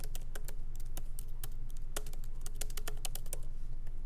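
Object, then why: Laptop keyboard with plastic keys in a metal body. Both hands type with their fingertips on the plastic keycaps of a MacBook Pro laptop keyboard, set in an aluminum body and resting on a wooden desk. Light, irregular clicking taps come in quick succession, with short, bright attacks over a steady low hum.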